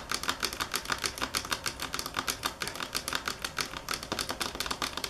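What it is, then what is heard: Marble table top tapped with fingernails. Long fingernails tap on a marble table top at varying speed and force, making quick, dry clicks with a bright edge. The taps fall in uneven bursts and die away almost instantly.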